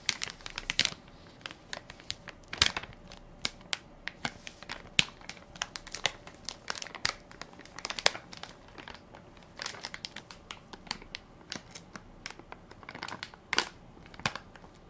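A full, soft plastic-film baby wipes pack with a plastic lid is held in one hand while fingertips and nails crinkle and scratch its film top. Dense, bright crinkles and sharp scratchy ticks come in irregular bursts, with almost no low end and quiet gaps between them.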